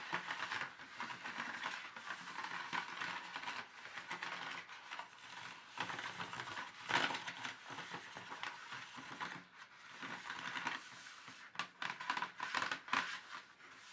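Slow fingertip taps and light fingernail scratches on the ridged wall of an empty, thin black plastic paint tube tray. The result is a quiet, dry, crinkly patter of short plastic clicks and scrapes, with bright detail centered around 1.5 kHz and almost no low end.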